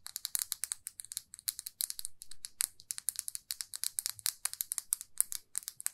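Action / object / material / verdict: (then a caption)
tap / lacquered lipstick tube / unknown / none. A small glossy red lacquered lipstick tube, held in both hands, is tapped and scratched with long fingernails. About forty quick, crisp, bright clicks follow one another, with brief soft scratching between some of them. Each tick dies away almost instantly.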